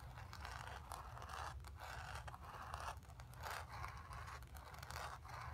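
Long nails on both hands scratch the painted surface of a stretched canvas lying flat on carpet, with the fabric hollow behind it. The result is a steady run of dry, raspy scraping strokes with a bright hiss, each stroke swelling and fading over a constant low rumble.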